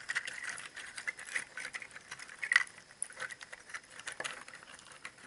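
Fingers grip and jostle a cluster of many hollow, empty, dried brown pangi seed shells, each palm-sized and tied together on twine, so the shells knock against one another. The result is a continuous dry, woody clatter of quick, short clicks and rattles centered around 2 kHz, bright with almost no low end. A louder knock stands out about two and a half seconds in.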